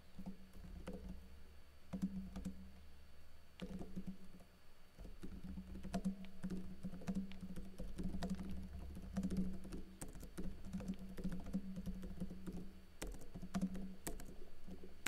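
Fingertips with blue-painted nails type on a laptop keyboard with plastic keycaps and a teal backlight. Quick, dry plastic key taps and clicks patter irregularly over a steady low hum.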